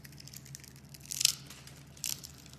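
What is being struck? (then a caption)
Bar of soap scraped with a metal blade. A metal box-cutter blade scrapes and shaves the surface of a mint-green solid bar of soap held in a hand with long red nails, and small soap curls fall off. Bright, crisp scraping bursts stand out against a faint low hum, with the strongest shave around the middle and a second cluster of scrapes near the end.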